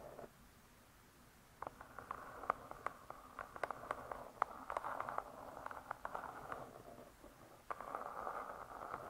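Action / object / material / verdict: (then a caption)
tap / laminated board cover of a spiral-bound cookbook / laminated board / none. Long nails tap and scratch the laminated board cover of a closed spiral-bound hardcover cookbook. After a near-silent start, a soft, dry scratching centered in the midrange begins, dotted with quick, crisp clicks of nail tips. It drops away briefly just before the end, then resumes.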